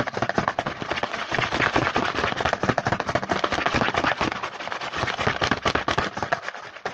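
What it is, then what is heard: Cardboard snack box. Fingertips tap fast across the front panel of a small, printed cardboard Hanuta snack box held upright. The result is a dense, continuous run of quick, dry, papery taps that are centered in the mid-range and die away almost instantly. The tapping holds a steady level for the whole clip.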